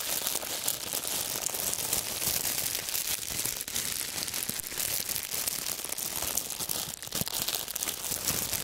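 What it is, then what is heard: Crinkled plastic wrap. A wad of clear, wrinkled plastic wrap is held in both hands and crumpled by the fingertips. It gives a dense, continuous, bright crinkling and crackling at a steady level for the whole clip, with almost no low end.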